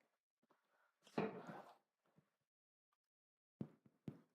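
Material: Bread.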